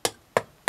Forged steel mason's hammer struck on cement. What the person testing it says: ça ne résonne pas, ça fait du super boulot quand on tape